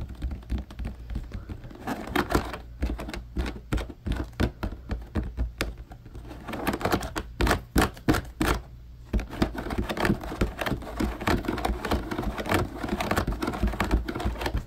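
Fingertips of both hands tap fast on the slotted grid side of a large, hollow, empty blue plastic laundry basket, like typing. The result is a rapid, irregular patter of short, dull, hollow taps with a heavy low thump, which briefly thins out around the ninth second before resuming steadily.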